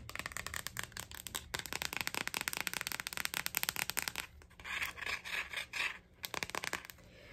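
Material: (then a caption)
Plastic. A glossy hard plastic phone case with a strawberry print, with the phone inside and held in both hands, is rubbed and scratched with long nails. Quick, crisp, bright scratching clicks run densely for about four seconds, followed by slower, breathier rubbing swipes and a short final burst of scratching.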